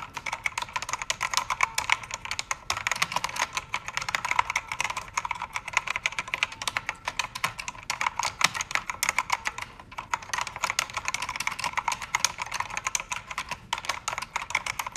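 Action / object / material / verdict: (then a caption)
tap / mechanical keyboard with plastic keycaps / plastic / none. Both hands type with fingertips and painted nails on a full-size black mechanical keyboard with plastic keycaps and a color-changing backlight. A steady stream of quick, bright, dry key clacks runs throughout with almost no low end, and each click stops short.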